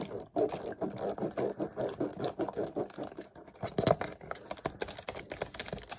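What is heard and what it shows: A small, empty, already crumpled clear plastic water bottle with its cap and label is held in both hands and twisted and squeezed with the fingers. It makes a dense run of crinkling and crackling with sharp, bright snaps over a mid-range rustle, swelling and easing as the grip shifts.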